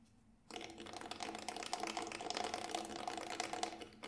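Fingertips tap quickly along the side of the grey textured synthetic shell of a Remo Buffalo frame drum, a large hollow round drum held in both hands. After a brief quiet moment, a steady stream of rapid, bright tapping begins, each tap short and carrying a faint hollow ring centered around 720 Hz. The taps continue densely until the clip ends.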